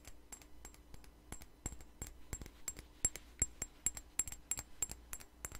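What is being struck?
Small glass perfume bottle.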